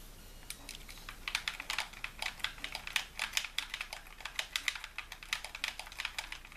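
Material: Plastic.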